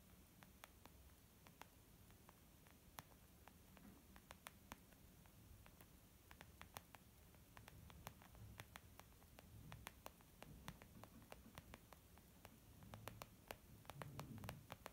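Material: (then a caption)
Leather. A flat, soft, hollow white textured (saffiano-style) leather zip makeup bag lying on a wooden table is gently tapped with long almond-shaped painted nails and the fingertips of both hands. Dozens of quiet, crisp, very short clicks with a bright edge sit over soft low thuds and a faint steady hiss, growing a little fuller toward the end.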